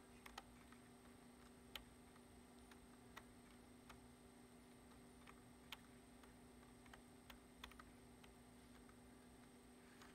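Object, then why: Plastic computer keyboard. Fingertips slowly tap the keys of a black plastic computer keyboard. Sparse, short, sharp clicks with a bright tick sound over a steady low hum and faint hiss.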